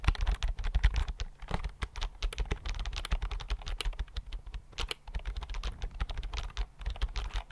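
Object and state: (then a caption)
Slim plastic keyboard. Fingertips type quickly on the flat chiclet keys of a thin white plastic keyboard held in both hands. The result is a rapid, steady stream of short, dull clicks with a soft low thump under each keystroke and very little ring.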